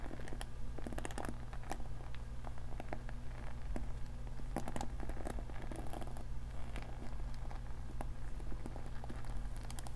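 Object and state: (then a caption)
Plastic paddle hair brush. Fingernails scratch and strum the bristles of a navy-blue plastic paddle hair brush with a cushioned bristle pad. Quick, dry crackling scratches and sharp plucks sit over a constant low hum throughout.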